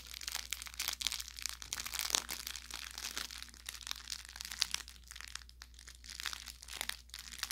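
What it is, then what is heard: Plush toy with crinkle filling. Hands squeeze and press the body of a soft-stuffed orange velour fabric carrot toy with crinkle filling. Dense, bright crinkling and crackling comes in rapid bursts of small pops. A faint steady low hum sits underneath.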